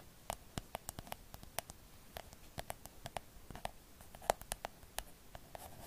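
A hollow pink cloud-shaped plastic night light, held close to the mic, is scratched and tapped with long acrylic nails. The result is a quiet, rapid, irregular run of short, dry, bright clicks over a soft scratching hiss, with a hollow plastic tone around 680 Hz and no ring after each tap.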